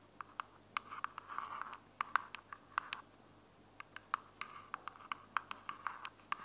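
Long glittery fingernails tap and scratch the flat top of a small, closed, hollow white plastic earbuds charging case held in one hand. About 27 sharp, dry clicks ring briefly with a bright edge, and short stretches of scratchy rasping fill the gaps. The background is quiet and there is no low end.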